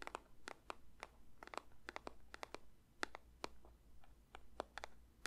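A paper box is lightly tapped with the fingers in an irregular run of about nineteen short, dry taps with no ring, each a brief bright click over a steady low hum.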